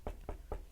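Someone knocks four times on a wooden surface, held close to the microphone. Each knock is a short, dull, low thud that dies away almost at once, and the last one, at the very end, carries a brighter edge.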